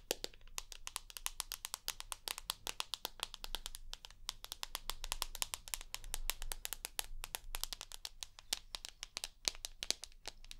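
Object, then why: Smartphone with glass screen and aluminium frame. Long nails tap rapidly on the glass screen and aluminium frame of a rose gold iPhone, producing a dense, steady stream of sharp, bright clicks that die away almost instantly. A faint low hum runs underneath throughout.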